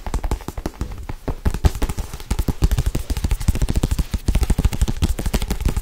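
A thick paperback Harry Potter book with a glossy cover, held in one hand, is tapped fast with long acrylic nails. The result is a rapid, continuous run of short, dull, low-pitched thuds with almost no ring, varying slightly in loudness.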